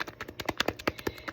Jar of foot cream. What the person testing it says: you want to shake it first. You hear it? Because it's watery.